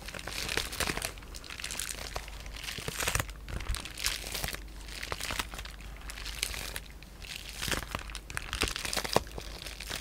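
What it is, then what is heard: Bubble wrap. Fingertips with short painted nails scratch, rub and press the air-filled bubbles on a sheet of clear polyethylene bubble wrap. The result is a steady, bright crinkling and rustling with frequent sharp crisp clicks and crackles scattered throughout, over a faint low hum.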